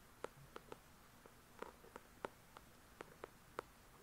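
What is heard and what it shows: Long pointed nails tap and scratch the glossy card cover of a paperback novel, 'The Shack', made of solid paper, recorded close-up. About ten quiet, crisp, dry clicks with a mid-pitched body are heard, each dying away almost instantly, spaced irregularly over a faint steady hiss.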